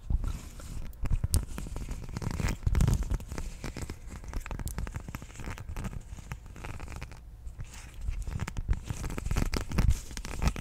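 Long nails scratch a thin blue textured silicone/rubber sheet with a honeycomb pattern while it is held up. The result is a continuous run of dense, rapid scratches and light taps, mostly low and rumbly, with short, dry bursts that stop almost instantly.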